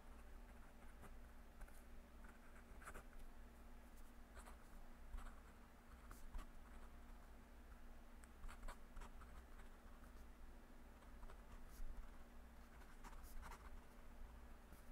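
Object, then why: Metal pen nib on paper pad. A metal fountain pen nib, held in the fingers, scratches across a yellow lined paper legal pad lying on a desk as the hand writes continuously, with a clip-on microphone resting on the paper. Soft, bright scratching strokes and faint taps come and go over a steady low hum.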